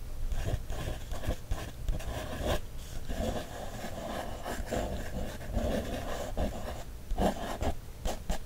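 A wooden stick traces and scratches over the lines of an illustration on an open page of a paper coloring book. Soft, dry scraping strokes are heard, with low, dull rubbing and a few short taps between them.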